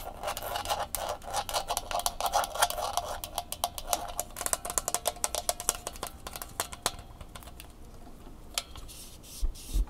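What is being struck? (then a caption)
Plastic flexible tripod tapped with fingernails. Long fingernails rub and tap the clamp head and bumpy legs of a red plastic flexible tripod held in the hands. Rapid, crisp, dry clicks mix with scratchy rubbing, dense in the first half and thinning to sparser, sharper taps toward the end, each dying away almost instantly.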